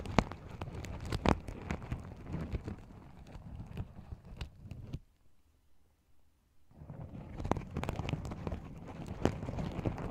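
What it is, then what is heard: Sequin fabric pouch. Fingernails scratch and flip the sequins on a small, empty, open sequin-covered fabric pouch, making dense, crackly clicking and rustling with sharp ticks. The scratching stops for about two seconds of near silence midway, then resumes just as busily to the end.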